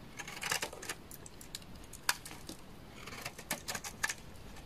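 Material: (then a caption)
Soap. A utility knife blade shaves flakes off the face of a solid, dry orange laundry soap bar. The result is a run of quick, crisp scraping ticks and crackles with a bright, high edge, clustered in bursts. One sharper snap stands out near the middle.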